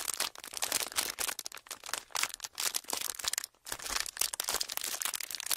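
A thin, flexible sheet of clear ridged plastic packaging is held in both hands and crinkled and pressed with the fingertips. It gives dense, continuous crackling and crinkling bursts that are bright and high, with almost no low end, pausing briefly near the middle before resuming.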